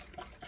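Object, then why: Carton of vegetable broth. A 32-ounce (4-cup) carton of low-sodium vegetable broth is shaken before being added to an Instant Pot. Two quick liquid sloshes are heard inside the carton, a soft, muffled swish.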